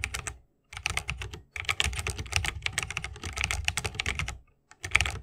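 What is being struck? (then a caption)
Mechanical keyboard with bamboo case and plastic keycaps. A 60% mechanical keyboard with a bamboo case, plastic keycaps and Holy Panda switches is typed on continuously with the fingertips of both hands. Rapid, bright, clacky keystrokes with a low thock come in bursts separated by brief pauses, each click cutting off almost instantly.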